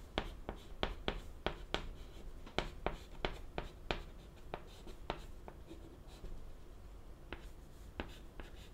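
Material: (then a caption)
Chalk. White chalk held in the fingertips writes a line of Japanese text on a flat, solid, wooden-framed black chalkboard. Quick, bright scratching strokes mix with sharp taps in an irregular rhythm over a low background hum.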